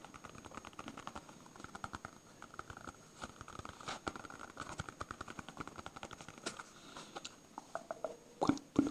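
A palm-sized, solid yellow smiley-face polyurethane foam stress ball is scratched and tapped with fingertips and nails. Quick, irregular soft taps and scratchy crackles sit mostly in the low-mid range, with short dull decays. Two louder, heavier knocks land near the end.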